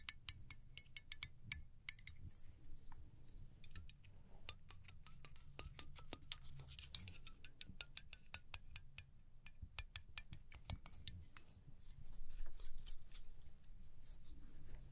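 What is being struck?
Small aluminum spray bottle with plastic cap.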